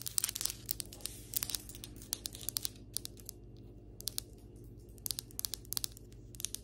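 Long acrylic nails scratch and tap along flat, solid ceramic floor tiles and their grout lines. Bright, dry scrapes and sharp clicks come in quick bursts with short pauses between, over a steady low hum.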